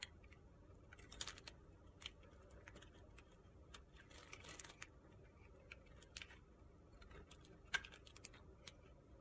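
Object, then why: Bar of soap. A utility-knife blade carves curls off the side of a narrow, solid, pale pink soap block held in the hand. Quiet, crisp scraping with many short, bright clicks and ticks is heard over a low background hum, with a few sharper snaps standing out.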